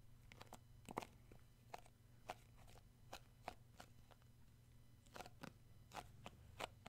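Short fingernails and fingertips tap and grip the black lid of a round plastic tub of shea butter with a yellow-rimmed label, held in both hands. Sharp, dry, crunchy clicks and crackles come in irregular bursts over a steady low hum, each tap dying away almost instantly.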